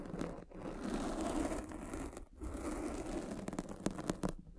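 A derma roller with metal spikes is rolled over the top of a black foam windscreen on a microphone, scratching the foam. The result is a close, dense crinkling and scratching texture, mostly low and mid-range, with brief dips in the noise between passes. Sharper crackly ticks stand out toward the end.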